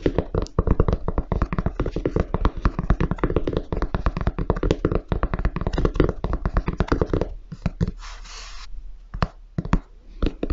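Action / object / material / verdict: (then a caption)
tap / leather and rubber high-top sneaker / leather / none. Fingertips and nails tap rapidly on the perforated white toe and upper of a grey leather and rubber high-top sneaker held upright. The taps are dull, short, low-heavy knocks in a dense, steady patter for about seven seconds. Then it thins to a soft, brief hissy rustle and a few scattered taps.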